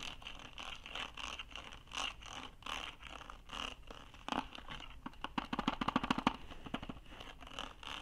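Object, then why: Ribbed plastic document case. Fingernails scratch and scrape along the ridged, hollow surface of a blue ribbed plastic document case. A steady run of quiet, dry scraping strokes gives way, around the middle, to a rapid burst of sharper ticking clicks as the nails flick across the ribs. Then the slower scraping returns.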